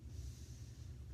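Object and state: Nothing is struck.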